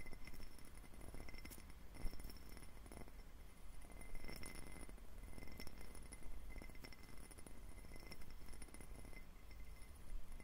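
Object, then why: Faceted glass tumbler. A clear, faceted cut-glass tumbler, hollow and empty, is held in both hands and tapped with fingertips close to the microphone. The result is a quiet, steady run of soft clinking taps with faint bright glassy ringing over a low background hum, and each tap dies away almost at once.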